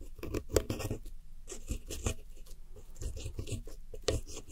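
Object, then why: Pressed powder eyeshadow in a plastic palette. A red-handled metal hook tool scratches and digs into the blue wedges and the white center pan of pressed powder eyeshadow in a round white plastic palette. The result is a quiet run of dry, gritty scraping bursts with short pauses between them. The sound is mostly low and muffled, with faint bright crackles and no ring after each stroke.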